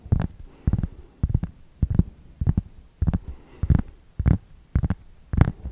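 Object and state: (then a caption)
Cork board scratched. A large, thin, solid round cork board or trivet is held upright close to the microphone while fingertips and nails scratch and rub its surface. Short, muffled, low-heavy rubbing bursts come in loose clusters about every half second, with faint brighter scratchy edges and no ringing after each stroke.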